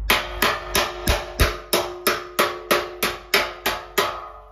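A large, thin, hollow, curved sheet-steel car wing panel clamped in a vise is struck 13 times on its dent with a hand-held flat metal slapper tool at a steady pace. Each slap gives a sharp, bright metallic crack with a brief ring that fades quickly before the next blow.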